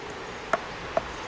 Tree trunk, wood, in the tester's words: hört der baumdoktor hohle stellen wie bei einer bongotrommel